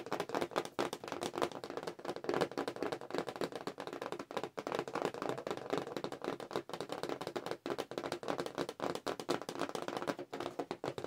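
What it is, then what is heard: Cardboard toy package. Both hands tap rapidly with long acrylic nails on the flat card of a cardboard Star Wars figure package held upright. The result is a dense, continuous patter of short, dry, clicky taps centered in the midrange, with little low end and only a faint bright edge. The taps run together too closely to count.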